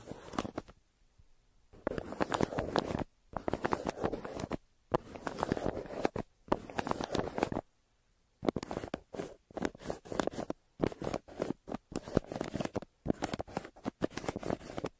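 A yellow pencil scribbles and scratches firmly over a brown kraft paper mailer laid flat. Bursts of dense, gritty scratching alternate with brief pauses, with short quick strokes toward the end.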